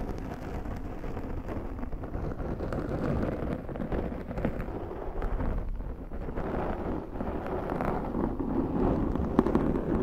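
Long nails of both hands scratch a large round black foam windscreen on a Zoom microphone. It makes a dense, continuous, muffled rustling and scraping, heavy in the low and low-mid range with almost no high content. The level stays fairly steady, with brief soft swells throughout.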